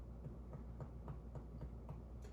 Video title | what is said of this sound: MSN572 Focused ABD Assessment | because that is an organ that's hollow. Hollow organs depict the sound of tympani